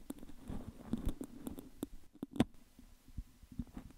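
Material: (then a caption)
Metal mesh. Fingertips and nails repeatedly pick and tap the hollow metal mesh grille at the top of an upright metal condenser microphone. The result is a quiet, uneven run of soft, dull, low-pitched taps mixed with light scratchy picks, each dying away almost instantly.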